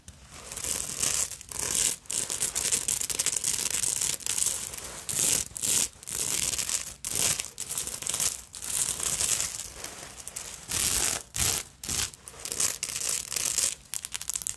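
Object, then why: Beaded fabric evening purse. Long pointed nails scratch and rub quickly over the beaded front of a small vintage black beaded fabric evening purse covered in black beads, sequins and dangling bead fringe. The result is a bright, crackling, crinkly rasp with almost no low end, coming in steady bursts separated by brief silent pauses.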